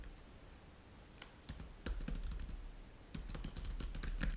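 Fingertips of both hands type rapidly on the plastic chiclet keys of a black laptop keyboard resting on a white table. Soft, irregular clicks and light taps come in quick bursts, each with a brief bright click over a dull low thud. The typing grows denser and slightly louder toward the end.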